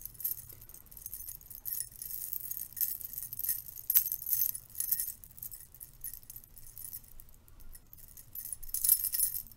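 A stack of silver metal curtain rings is held in the hand while the fingers riffle and jangle the rings against each other. The result is a steady stream of bright, tinkling metallic jingles in quick, short-ringing bursts, with a sharp clink near the middle and a louder flurry near the end over a faint low rumble.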